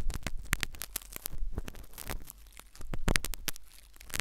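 A metal syringe needle scratches inside the ear canal of a solid, white, soft silicone ear replica on a binaural microphone. Close, dense scraping and crackling comes in rapid bursts with sharp, bright clicks over a deep, rumbling low end.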